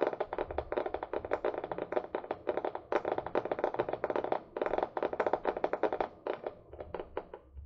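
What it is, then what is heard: Small paper book. Long nails tap rapidly on the back cover of a small, solid paper book held upright, with a paper and cardboard cover. The taps are quick, dry and clicky, centred in the midrange with almost no ring, and they come in dense bursts separated by brief pauses.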